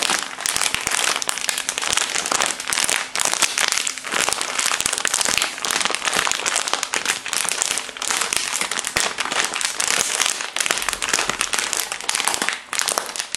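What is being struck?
Soft plastic wrapper package.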